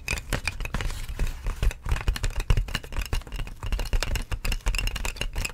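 Long polished nails tap and scratch with both hands across the ridges of a large, clear, inflated plastic air-column packaging sheet made of hollow air-filled tubes. The result is a dense run of quick, dry, hollow taps and crinkly rattles, heavy in low thuds with brief bright clicks and almost no ring.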